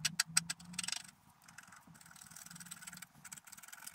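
A wooden stylus scratches the coating on the right side of a flat, black-coated scratch art sheet lying on a table. It starts with a quick run of sharp, bright scraping strokes, then settles into softer, continuous, irregular high-pitched scratching.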